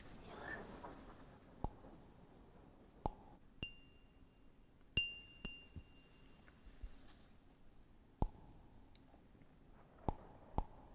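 Fingernails tap and scratch a small, clear, empty cut-glass cup with a diamond pattern held close to the mic. A soft scratchy rustle at the start gives way to sharp, irregular clicks. A few of the taps leave a brief bright, glassy ring over a quiet background.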